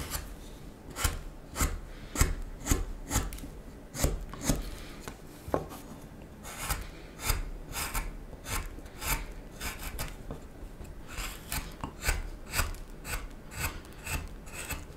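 A small knife scrapes and shaves the bowl end and handle of a solid wooden spoon blank. About seventeen short, raspy strokes come at an uneven pace, each a quick, dry scrape with a bright edge over a low, steady rumble.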